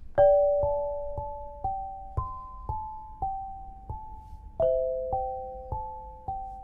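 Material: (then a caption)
Granite. An eight-bar lithophone of solid polished black granite slabs, a set about 70 cm long weighing 7.5 kg, rests on a low frame on a carpet and is struck with two soft-headed mallets with red and green balls on wooden sticks. Ten gentle strikes play a slow melody of clear, bell-like tones centred around 580 Hz. Each note rings on for almost a second and overlaps the next, with no bright edge.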